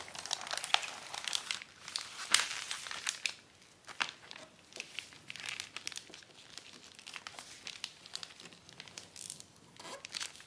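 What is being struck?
Thin acetate plastic book-cover sheet.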